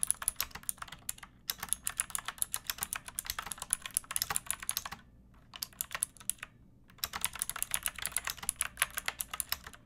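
Long nails and fingertips type on a backlit pink mechanical keyboard with round plastic keycaps and a hollow plastic case. Quick, bright clicky keystrokes come in bursts, broken by short pauses.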